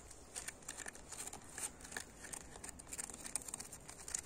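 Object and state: Old brick wall.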